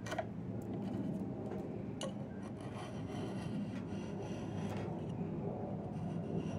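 A yellow-handled steel chisel scrapes and shaves the surface of a long, solid diamond willow branch being carved into a walking stick. The result is a steady, low rasping rub with a few brief, brighter scraping strokes.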